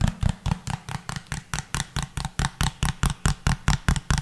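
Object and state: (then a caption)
Hollow small plastic bottle. A small, hollow pink plastic bottle with a pink cap, held upright, is tapped or scratched with the fingertips in a steady rhythm of about twenty quick hits. Each hit is a short, dull, low thump with a brief bright click on top that dies away almost at once.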